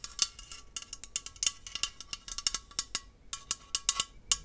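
A tall green aluminium aerosol hairspray can, hollow and pressurized, is held upright in one hand and tapped along its body with long acrylic nails. The result is an irregular run of quick, bright, clicky metallic taps that are almost all high treble, each dying away almost instantly with no low ring.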